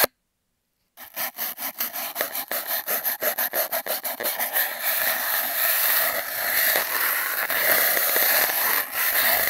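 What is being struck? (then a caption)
Cardboard tube and scouring sponge. An empty, hollow cardboard toilet-paper tube is taped down, and a foam sponge with a blue scouring side is rubbed and scraped along it by hand. After a second of silence, about fifteen quick, separate rasping strokes are heard. They then blur into a steady, bright, scratchy scrubbing that continues to the end.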